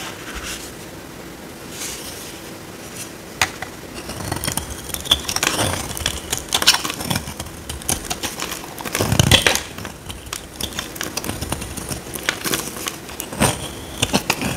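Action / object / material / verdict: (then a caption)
scrape / bar of soap scraped with a metal blade / soap / none. A small metal blade scrapes a dry, solid, oval white embossed soap bar held in the hand, shaving off powdery flakes. Many crisp, dry scraping strokes are heard, bright and rasping with a tone near 3.4 kHz, over a faint low background hum. The bursts come in irregular clusters, the loudest in the middle of the clip.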